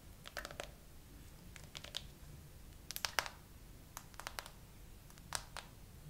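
Long nails tap and scratch across a clear plastic phone case with glitter and green charms, the phone held in a tripod holder. Short, bright clicks come in loose, slow clusters over a low, steady background hiss.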